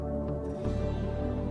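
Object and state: Nothing is struck.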